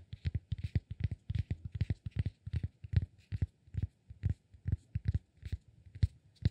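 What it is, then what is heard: Cork block. A solid cork block held in the palm is tapped with the fingertips, giving a quick, irregular series of soft, dull thuds centered low around 94 Hz. Each tap dies away almost instantly with no ring, with faint bright clicks riding on top.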